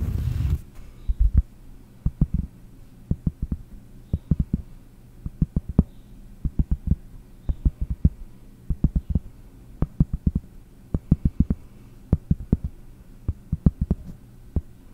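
Fingertips tap a round, flat, solid cork disc held upright behind the microphone. After a brief burst of noise at the start, dozens of short, dull, low thuds follow in uneven clusters, each dying away almost instantly over a faint steady hum.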